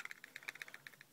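A knife sitting in a stock Kydex plastic sheath is shaken, producing a quick run of sharp, bright clicking rattles as it knocks around inside. The clicks are dry and very short, sitting mostly in the upper mids and highs with almost no low end. The knife stays retained and doesn't shake out, but the rattling shows a loose fit that could be tightened by heating the sheath with a hairdryer.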